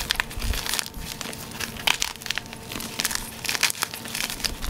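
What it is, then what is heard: Gym chalk block being crushed. A solid, hard, pale bar-sized gym chalk block of magnesium carbonate is broken and crushed by hands in white cotton gloves inside a tub of loose chalk powder. Crisp, bright crunches and dry crackles come in quick bursts with short grainy rustles between them. The block snaps into crunchy chunks.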